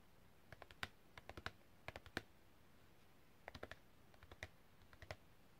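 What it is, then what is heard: Printed cardboard card tapped with fingernails. Long red-painted fingernails tap and click on a long, thin, flat printed cardboard packaging card with a hang hole, held flat. About 22 short, dry, bright clicks arrive in quick uneven bursts with quiet gaps between them. Each click dies away almost instantly.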